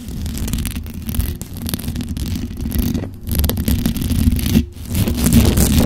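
Long dark-red acrylic nails fast-scratch the hollow metal mesh grille of a black condenser microphone with both hands. A dense, continuous scratching and rasping is heard, heavy in low rumble with only faint high content. It runs without a break apart from two brief dips.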